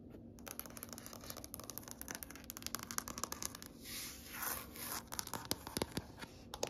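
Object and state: Wood floor tapped with fingertips and nails.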